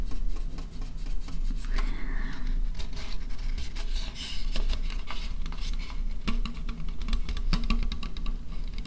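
Fingernails tap and scratch an empty, thin white disposable plastic bowl held close to the microphone. The sound is a busy run of quick, dry clicks and bright scratchy rasps that stay at a fairly steady level over a constant low rumble.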